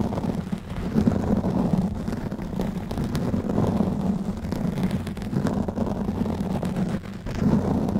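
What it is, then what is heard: Foam microphone windscreen being scratched. Fingertips of both hands scratch and rub a black foam windscreen covering a silver microphone head. The result is a steady, dense, muffled scratching rumble, heavy in the low end with a humming band around 200 Hz and little high content. It briefly dips in loudness near the seven-second mark before resuming.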